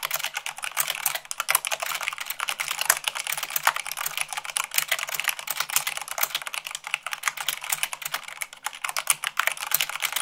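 Fingertips with long pink nails type fast, at about 98 words per minute, on a full-size mechanical keyboard with white plastic keycaps on a black frame. The result is a dense, continuous stream of sharp, bright plastic clacks that die away almost instantly, with almost no low end.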